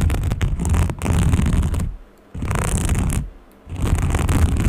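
Long painted nails scratch along the ribbed surface of a small green textured fabric case held in both hands. The result is a dense, low, rumbling scratching in three sustained stretches, separated by two brief near-silent pauses.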